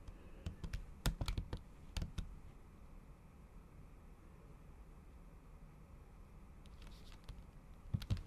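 Long acrylic nail tips type fast, repeated taps on a MacBook keyboard whose solid keys sit under a thin pink patterned plastic/silicone cover. Bursts of short, dry clicks with low thumps come at the start and again near the end, separated by a quiet stretch of low hiss.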